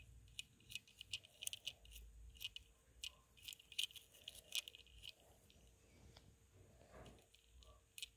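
A small plastic and metal beyblade spinning top, with a gold and teal plastic body and a grey ring that may be metal, lies on dark fabric and is brushed and rubbed with a small green-handled brush. Quiet, irregular bright ticks and light rattling clicks sound over a soft brushing rustle, each click dying away almost instantly.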